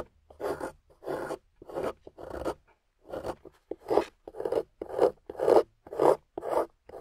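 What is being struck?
Clay block carved with a metal tool.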